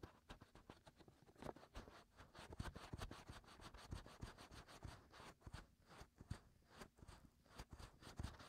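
Fingertips scratch continuously inside the hollow canals of the white silicone ears on a 3Dio binaural microphone. The result is a quiet, dense stream of dry scratching and rubbing with a muffled, low-heavy thump, broken by short, sharp scrapes that flick up into the high range.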